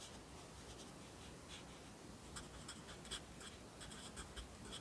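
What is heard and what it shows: A yellow wooden graphite pencil writes on an open lined paper notebook held flat by the left hand, its tip scratching across the thin paper. Quiet, steady scratching carries bright, high strokes, with a few slightly louder strokes standing out over a low background rumble.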